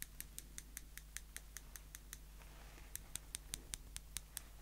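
Small, slim, solid steel tweezers are held in the fingers and their tips are squeezed and clicked together repeatedly, giving about 21 sharp, bright metallic ticks with almost no ring. The clicks come in a steady rhythm, pause briefly for a soft rustle near the middle, then resume, all over a quiet, steady low hum.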